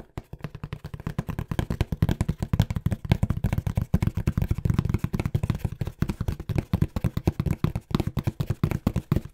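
A small, hollow brown corrugated cardboard box, held upright next to the mic, is tapped fast with fingertips. About 66 quick, dry, low, hollow thumps follow in a steady rhythm, each cut off almost instantly with no ring. The sound is dull and bassy with no bright edge.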